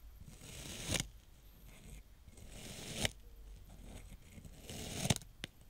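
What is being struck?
Kinetic sand pressed with a spiked plastic roller.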